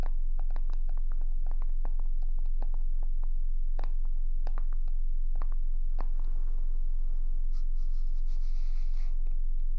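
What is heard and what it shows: Long acrylic nails tap and scratch the lid and white label of a small black plastic skincare jar held in both hands; the jar appears closed and probably full. Quick, sharp clicky taps come in a fast, steady rhythm, then give way to softer scratching with a brief bright rasp near the end, all over a constant low hum.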